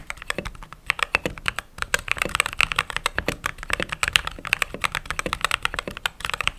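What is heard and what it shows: Fingertips and long nails type steadily on a mechanical keyboard with white/cream plastic keycaps, producing a fast run of short, bright, clacky key taps. Each tap dies away almost instantly, with a crisp tone around 2.7 kHz and very little low end.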